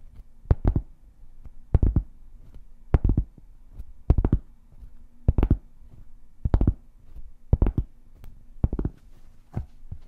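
A large, solid, round flat cork board is held upright and tapped and scratched with long painted fingernails. Clusters of quick, dull, low taps with brief bright clicky edges come in short bursts every second or so, with no ring after each. A faint steady low hum sits underneath throughout.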